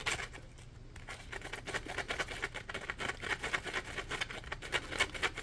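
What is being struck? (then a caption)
Polymer foam scrub sponge. A dry, porous, palm-sized yellow Scrub Daddy polymer foam sponge is scratched and squeezed with fingertips and nails. It makes a steady run of quick, dry scratching and crackling bursts, bright and hissy, centered around 2.2 kHz, with very little low end. The sound is a dense, rhythmic texture of short scrapes with almost no ring.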